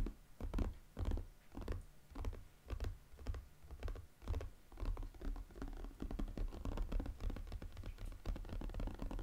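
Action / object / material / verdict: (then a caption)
scrape / cardboard jigsaw puzzle box / cardboard / none. Fingertips and nails scratch and tap the lid of a square cardboard jigsaw puzzle box with a sushi picture on it, full of pieces. Quick, irregular bursts of dry scratching mix with soft, low, muffled thumps that stop short with no ring. The pace picks up into a dense, steady patter near the end.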